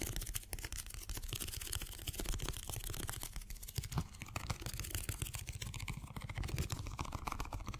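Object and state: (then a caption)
Rubber stress ball filled with water beads. A small, colorful rubber stress ball filled with water beads is held in one hand and quickly tapped and scratched by the fingertips of the other hand. This produces a dense, continuous stream of fast, dry taps with a low, muffled thumping body and bright, crackly scratching on top, steady in level throughout.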